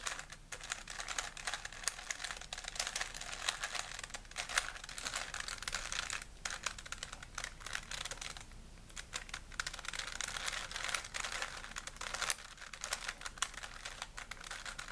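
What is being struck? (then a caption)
Plastic puzzle cube. A small, solid plastic 3x3 Rubik's cube is held in both hands while fingertips twist its layers, giving rapid, dense plastic clicking and clacking. The clicks are bright and crisp with very little low end, continuing steadily for the whole clip apart from a brief lull just before the nine-second mark.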